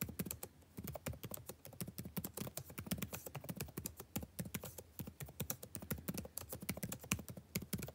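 Fingertips type continuously on a backlit laptop keyboard with plastic chiclet keys. The result is a steady stream of quick, soft taps, each a short dull thump with a faint bright click and almost no ring, at an even, rapid rhythm throughout.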